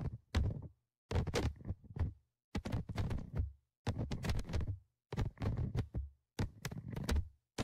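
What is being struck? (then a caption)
Audio recorder microphone grille, metal mesh on plastic body. Dark tweezers held in the fingers tap and scratch the perforated metal mesh microphone grille on top of a handheld Tascam DR-100mkIII recorder with a hollow plastic and metal body, and the recorder picks up the contact directly. Close, heavy low-end thunks and rubbing scrapes arrive in short clustered bursts separated by near-silent gaps, with only faint bright scratch detail above them.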